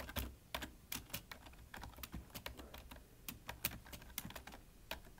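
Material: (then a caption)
Plastic. Fingertips of both hands type continuously on a full-size black plastic computer keyboard with a hollow body. A steady, uneven stream of short, dry key taps is heard, each with a bright click and a low hollow thump and almost no ring.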